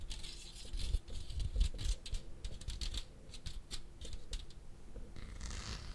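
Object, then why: Plastic fly swatter with metal mesh. A handheld electric fly swatter with a plastic frame, orange grid and metal mesh is held close to the microphone and tapped and scratched with fingertips and nails on its mesh face and frame. Quick, light clicks and bright ticks patter unevenly over a steady low rumble, ending with a softer, scratchy hiss.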